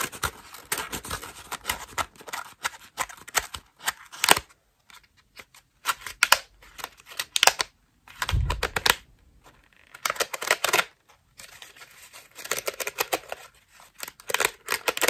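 A cream foam bath loofah is squeezed and scratched with long nails, giving bursts of dry, bright crackling and scratching with short pauses between them. Around the middle, a brief low, soft squeeze stands out beneath the scratching.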